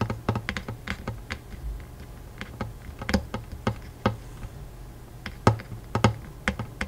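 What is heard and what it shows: Fingertips of both hands tap quickly on the strings of a Taylor acoustic guitar with a hollow wooden body, near the soundhole and fretboard. About two dozen light, irregular taps each give a short, bright click over a low, steady hum around 110 Hz. Each tap fades within a fraction of a second.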